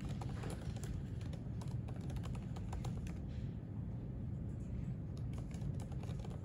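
Fingertips type steadily on the plastic keys of a thin silver aluminium MacBook resting on a white library desk. Quick, light clicks patter throughout over a constant low rumble.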